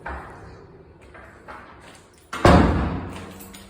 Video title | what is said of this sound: Salter point reno replacing doors and handles | You can tell if it's a solid door by knocking on it.